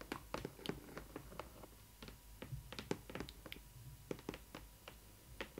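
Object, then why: Cardboard box panel. Long nails tap and scratch with the fingertips held flat on the printed side panel of a hollow cardboard box for a Disney Ily 4ever Stitch doll. A quick, irregular run of short, dry taps sounds over a faint scratchy rustle, each tap dying away almost instantly.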